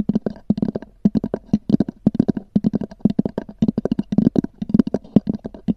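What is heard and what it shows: Long nails tap and scratch across a small black oval hard-shell EVA zip case with a textured cover, which is hollow. About 35 quick, dry taps come in a rapid, uneven run, each giving a short, hollow knock centered low around 210 Hz with a soft scratchy edge. The taps stop almost instantly with no ring.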